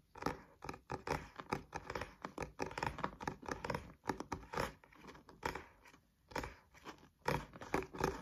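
Fingernails and fingertips tap and scratch the card front cover of a thick, solid green paperback textbook held upright. Quick, dry, rhythmic clicks and soft scrapes come in bursts with short pauses, mostly in the mid range with a little low thump. Each tap dies away almost at once.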